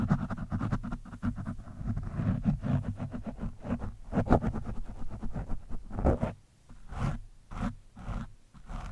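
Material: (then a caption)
Foam. A metal screwdriver scratches an orange foam windscreen on a microphone from different angles. It makes a dense, rough scraping with a heavy low rumble and quick rasping strokes. Toward the end it thins into quieter, separate swipes.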